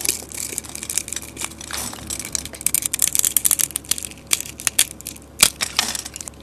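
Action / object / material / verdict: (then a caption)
scrape / soap bar cut with a metal blade / soap / none. A metal blade scrapes cubes off a pre-scored, solid white soap bar with a copper-colored coating. The result is a dense run of crisp, bright crunches and crackles with almost no low end, each dying away almost instantly, and one sharper snap stands out near the end.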